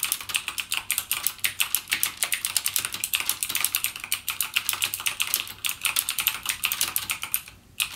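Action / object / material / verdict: tap / plastic mechanical keyboard keys / plastic / none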